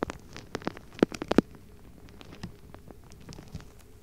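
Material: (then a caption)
Rubber. A palm-sized purple-pink rubber mesh stress ball with soft rubber skin over gel beads is held in one hand and squeezed and rubbed with the fingertips close to the microphone. Quick, soft squelchy clicks and patters come in an irregular run, loudest and densest in the first second and a half, then fade to quieter scattered pops over a low hiss.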